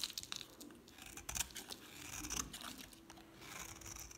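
A metal utility knife blade shaves a palm-sized solid bar of dry green soap with a painted black coating, held in one hand, so curls and flakes fall away. Quiet, bright, dry scraping and crisp crinkling strokes repeat in quick, uneven bursts, with little low end and almost no ring after each cut.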